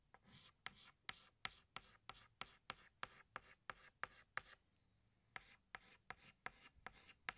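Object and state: Chalk stick on blackboard.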